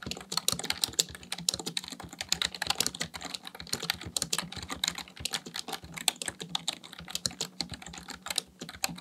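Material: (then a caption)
Plastic. Fingertips type rapidly on the keys of a black plastic full-size computer keyboard resting on a desk. The result is a dense, continuous stream of sharp, bright plastic clicks and clacks with very short decay, over a faint steady low hum.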